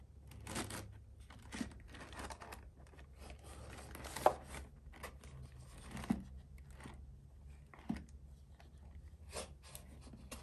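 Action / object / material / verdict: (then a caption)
tap / cardboard mailer box / cardboard / none. A closed, hollow printed cardboard mailer box is held and turned in both hands while fingertips and short nails tap and scratch its sides and lid. Quiet, dry scratching and rustling run throughout, broken by sharper, irregular taps with a slightly hollow tone. A faint low rumble sits underneath.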